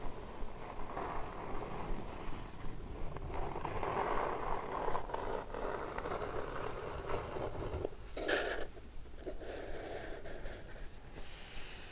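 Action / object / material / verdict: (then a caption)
scrape / kraft cardboard box / cardboard / none. Long red-painted nails grip and scratch the sides and top edge of a closed, hollow, medium flat brown kraft cardboard Birchbox subscription box lying on a blue patterned cloth. The result is a continuous, low, rumbling scrape with a hollow mid-range tone, broken by a brief brighter, rasping burst near the end.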